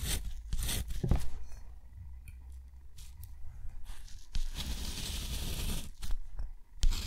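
A steel nib scratches rows of short hatch strokes and a crossing line across a thick, rough white sheet of textured watercolor paper. Quick dry, raspy scratches come in bursts, followed by a longer continuous bright scrape near the end, all over a faint low rumble.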